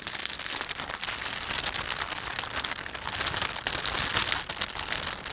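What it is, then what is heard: Plastic shopping bag. Thumbs stretch and rub the film of a thin, empty plastic panda shopping bag, producing a steady, dense crinkling. The sound is bright and hissy, with little low end and rapid overlapping crackles throughout.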